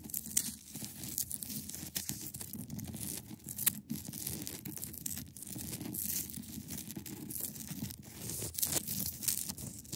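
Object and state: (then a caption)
Ice block. Long acrylic nails scratch across the top and edge of a large, solid, clear ice block. The result is a quiet, continuous rasping and crackling texture, with dense bright scratchy hiss over a soft low rumble and brief sharper scrapes throughout.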